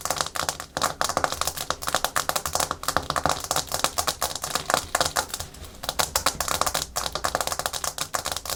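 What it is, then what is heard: Hard plastic surface tapped with nails. Natural fingernails tap and scratch fast and aggressively on a hard plastic surface. A dense stream of sharp, bright clicks, much like rapid typing, runs for the whole clip, each click dying away almost at once with little low end.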